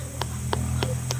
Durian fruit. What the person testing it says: Dapat kinakatok yan pag maano na yung niya, sounds niya, it means hinog na siya.